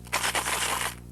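A soda can holding a couple of pennies is shaken quickly as a shake can, used to startle a dog. It makes a bright, dense metallic rattle of coins clattering inside the can for about a second over a steady low hum, then stops abruptly.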